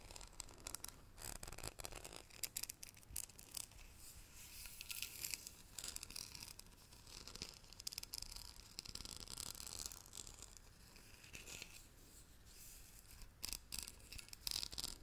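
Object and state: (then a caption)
Metal tea tin. Long nails scratch and tap a small, hollow green metal tea canister with a gold lid, held close to the microphone. The result is a quiet, continuous run of bright, crisp scratches and quick ticks with almost no ring, over a faint low hum.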